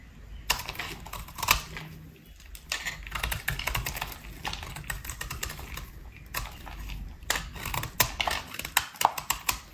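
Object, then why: Bar of soap cut with a metal blade. A metal utility blade shaves and scrapes a dry, solid speckled pink bar of soap held in the hand. The result is a rapid run of short, crisp, bright scraping clicks in irregular bursts, each dying away almost at once.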